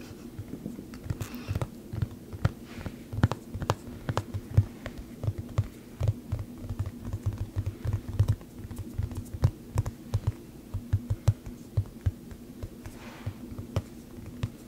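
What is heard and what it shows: A hard, thin plastic frisbee with a printed skull graphic, hollow underneath, is tapped and scratched with long nails. Short, dull clicks land in quick, uneven succession over a steady low hum, each dying out almost at once, with faint scratchy brushing between the taps.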